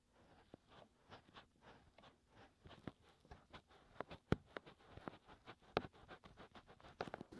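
Fingertips scratch and rub inside and around the hollow canals of the white silicone ears of a 3Dio binaural microphone on a tripod. The result is a quiet stream of soft, close, scratchy rustles in uneven bursts, with a few sharper, louder pops and brief, dry strokes that fade almost instantly.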